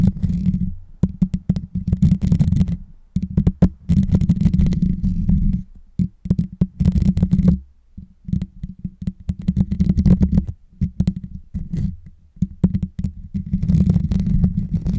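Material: Metal mesh.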